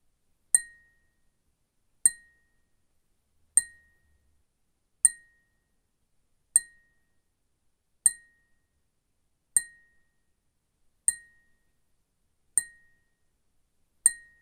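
A small, clear, empty glass beer cup with a Cass logo, standing on a wooden table, is tapped with fingernails. Ten evenly spaced, sharp clinks sound about every second and a half, each a bright, high tick with a brief ring near 2 kHz that dies away quickly into silence.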